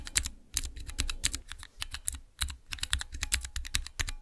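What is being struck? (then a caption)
Clear plastic mechanical keyboard switch tester. Fingertips type on the transparent keycaps of a small clear acrylic Cherry MX mechanical keyboard switch tester. A quick, uneven run of short, sharp key clacks comes through, each one a bright click over a low plastic thud that dies away almost instantly.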